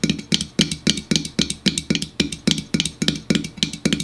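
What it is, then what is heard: Aluminum soda can. Fingers tap and drum quickly on an aluminum store-brand diet soda can. The result is a fast, uneven run of short, bright metallic ticks with a hollow low thump around 200 Hz and a tinny ring near 3 kHz that dies away almost at once.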